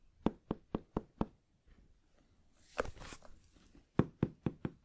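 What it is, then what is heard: Hollow fabric-covered headphone case. Fingertips tap and knock on a medium black, rounded, closed and hollow hard-shell headphone case, its molded shell covered in fabric, held in one hand. Five quick, dull, hollow knocks with a low body are followed by a brief brighter scratchy brushing over the fabric, then four more knocks. Each knock dies away almost instantly.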